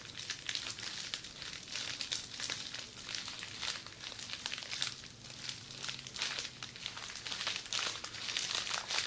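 Long red acrylic nails scratch and tap along a roll of red plastic bubble wrap, rolled into a hollow tube and held in the hand. A steady, bright crinkling and scratching runs throughout, with small crisp taps and almost no low end.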